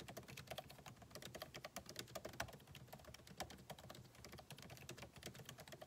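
Fingertips of both hands type rapidly on the backlit keyboard of a solid MacBook Pro laptop with plastic keycaps in an aluminum body, resting on a desk. The result is a quick, steady stream of short, crisp clicks and taps with bright tops, a light low thud beneath, and almost no ring after each keystroke.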